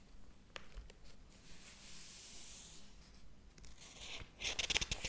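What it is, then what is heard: Paper book pages being turned. Fingertips flip the paper pages of a large, thick hardcover book lying open on a table. Soft, airy paper rustling and sliding build gradually, then a quick burst of louder, crisp, bright page flicks and snaps closes the clip.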